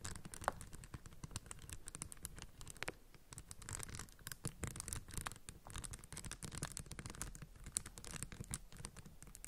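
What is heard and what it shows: Long acrylic nails tap and scratch the faces of a plastic puzzle cube with raised, textured yellow and green round tiles. The result is a dense run of quick, dry clicks and scrapes with bright, crisp edges over a low rumble, plus a few sharper taps that stand out.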